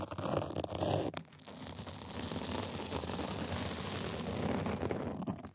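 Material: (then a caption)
Sequin fabric. Small white plastic tools scratch across a sequin and glitter fabric sleeve. Sharp, raspy bursts in the first second give way to a brief dip, then a steady, dense scratching with a low rumbling undertone that fades at the end.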